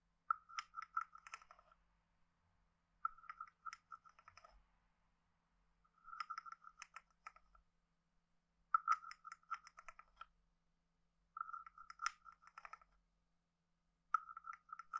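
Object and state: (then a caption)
Wooden frog guiro. A hand-sized hollow carved wooden frog guiro is played with a wooden stick, scraped along its ridges and tapped on its head. Six short bursts of rapid, dry, hollow clicking ring at a steady mid pitch around 1.3 kHz, separated by quiet pauses. The last burst is cut off at the end.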